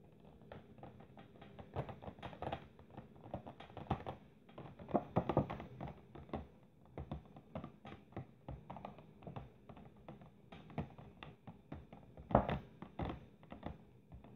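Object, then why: Clear plastic box with ornaments inside. Long nails tap on the clear plastic lid of a box holding three ornaments, making a quick, irregular run of light clicks and taps with short, dry decay. The sound is mostly low-mid, with a few louder hits near the middle and toward the end.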